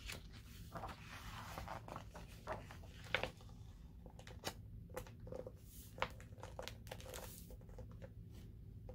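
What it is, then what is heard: Large hardcover paper book, pages turned. Fingertips with painted nails smooth, rub and turn the glossy printed paper pages of a large hardcover coffee-table book, The Africa Book, lying open on a table. Soft papery rustles and crinkles come with brief bright swishes and light taps, over a steady low background hum.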